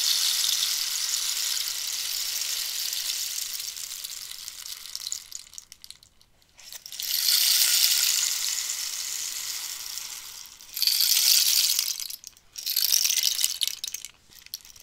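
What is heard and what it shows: A hollow cactus wood rainstick is held in both hands while long nails tap and scratch the wood and pellets rattle inside. A bright, hissing patter with almost no low end pours out in long surges that fade to near silence around six seconds, swell back, then break into two shorter bursts near the end.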